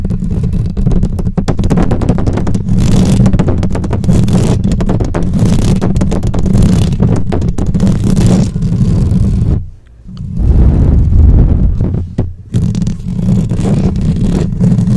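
Long nails of both hands scratch fast and aggressively over the rounded metal mesh grille of a black microphone with a hollow head. The result is a dense, boomy, low scraping rumble of rapid, irregular strokes with little brightness. It drops out briefly around ten seconds and dips again near twelve and a half seconds before resuming.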